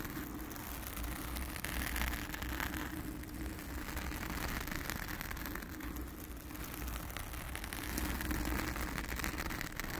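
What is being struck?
Foam microphone windscreen.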